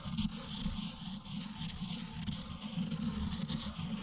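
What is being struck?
Ink stick on stone inkstone.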